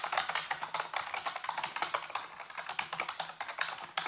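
Fingertips type rapidly on a full-size black plastic computer keyboard with hollow keys, set on a white base. A steady run of quick, bright, hollow clicks follows, each dying away almost at once.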